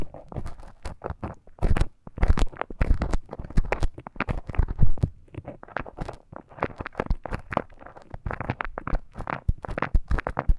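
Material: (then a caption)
Silicone. A thin bamboo stick scratches and scrapes inside the ear canal of a life-size soft silicone ear model. The result is a dense run of close, crackly, rustling scrapes with low, muffled thumps and brief bright crinkles, continuing for about ten seconds.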